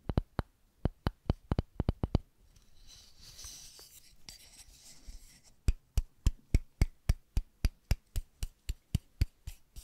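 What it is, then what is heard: Wooden paddle tapped with nails. Long pink nails tap the face of a flat, solid, light wooden paddle with a handle and a white label, making quick, sharp clicks with a low thump. A soft, hissy scratching pause follows, and at the end fingertips tap the paddle's edge in a steady run, for 29 crisp, dry hits in all.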